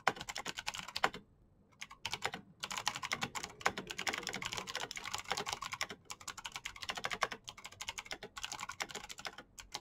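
Fingertips type fast and densely on a black plastic mechanical keyboard with clicky switches, producing a rapid stream of sharp, bright clicks with almost no low end. The keystrokes pause briefly near the start, then continue steadily to the end.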